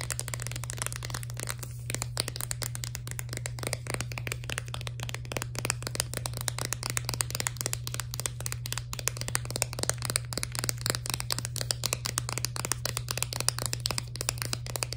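A full plastic blister pack of candies on a cardboard card is tapped rapidly and continuously with long nails for the whole clip. The sound is a dense stream of sharp, bright plastic clicks and crinkly ticks that die away almost instantly, over a steady low hum.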